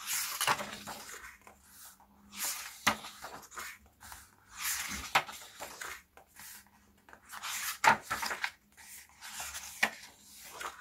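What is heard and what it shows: Fingertips with short nails turn and flip the glossy and matte paper pages of a hardcover CD album photobook lying open on a black cloth. The pages give bursts of bright rustling and crisp flicks as they turn over, with short sharp snaps between quieter stretches.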